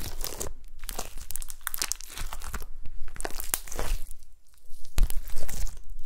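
Gold glitter slime on a table is pressed and poked with long nails and fingertips, giving dense, wet crackling and crinkly popping with sharp bright clicks. The squelchy bursts come in quick, uneven clusters with a low rumble underneath, and grow louder toward the end.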